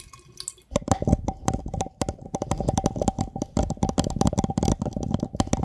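A small clear glass jar, mostly empty with a few small items at the bottom, is held in both hands right over the microphone while fingertips tap and rub its sides. After a brief quiet start, a rapid, uneven run of short, dull taps follows, with a soft, steady mid-pitched glassy ring beneath them. The sound stays low and close-miked, with little bright content.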